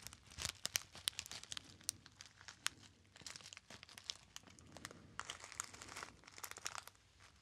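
A small, hollow, apparently empty gold metallized foil pouch is crinkled by fingertips. A quiet, dense stream of bright, sharp crackles and rustles comes in bursts, each snap dying away almost instantly, with little low-end body.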